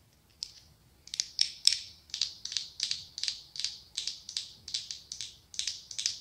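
Long acrylic nails tap and scratch the glass lid and ribbed body of a medium pumpkin-shaped glass candle jar filled with orange wax. A steady series of crisp, bright clicks and short scrapes follows a single early tap, each burst fading quickly with almost no low end.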